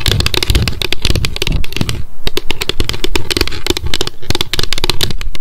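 A small, square, clear plastic Loretta hair oil bottle with a gold pump and clear cap is held in both hands and tapped rapidly on its sides and label with long decorated nails. A dense stream of quick, dry, crisp clicks with almost no ring, carried over a low, heavy rumble, with a brief lull near the middle.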